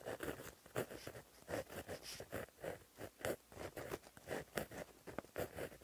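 A plastic-barrel gel pen with a metal tip, held in the fingers, writes across a flat black lined paper notebook page lying as a solid sheet on a surface. The tip makes quiet, rapid scratching strokes, a run of short bursts with brief gaps between them. The strokes have a midrange papery rasp with bright edges.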